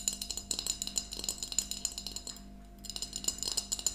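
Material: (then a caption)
Glass. A small empty glass mason jar mug with a yellow plastic lid stands on a table, held between both hands and tapped with long nails. Quick, bright, clinking taps come in a rapid irregular stream, each dying almost instantly. A short pause falls near the middle of the clip, and a faint low hum runs underneath.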